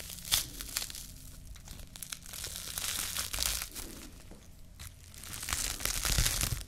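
Fingertips and long nails squeeze and crinkle a small crumpled ball of clear plastic cling film. Bright, irregular crackling and crinkling come in uneven bursts over a low, steady rumble. The sound swells louder toward the end.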